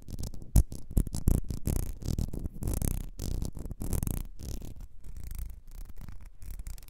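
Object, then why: Small ribbed glass perfume bottle. Long nails scratch the ridges of a small, ribbed, clear glass perfume bottle that is partly filled and held over fur, and tap its base. The result is a dense run of low, rasping scratches in quick bursts broken by short pauses, with a few sharper taps standing out near the start.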